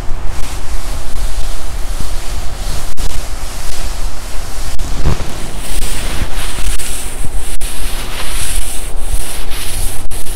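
Palms rub the padded lower front of a black quilted nylon puffer jacket being worn, then move to the forearm sleeve. The result is a steady, loud swishing and scratching rustle with a deep low rumble and brighter hiss in the later part, broken by a few sharp clicks.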